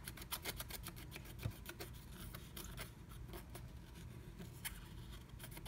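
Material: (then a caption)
Coated paper. A wooden stylus scratches a black-coated scratch art card under a blue stencil, filling in the letter O. Quick, dry, rasping strokes come in a steady run of bright, short bursts over a low, constant hum. The scratching is quiet and close, with each stroke dying away almost at once.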